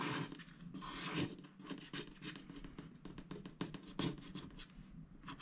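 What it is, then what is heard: Scratch-art paper being scratched. A wooden stylus scratches a koala design into a black-coated scratch-art paper sticker sheet held flat by hand. The result is a close, dry scratching and rasping made of short, quick strokes. They are bright in the upper range, with a soft low hum underneath.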